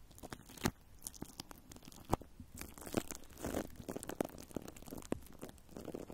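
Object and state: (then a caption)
Plastic cling film over a microphone grille, scratched and crinkled. Long nails scratch and crinkle clear plastic cling film wrapped over a metal microphone grille. The result is a close, dry, crackling series of short crunches and tearing-like rustles with a few sharper pops.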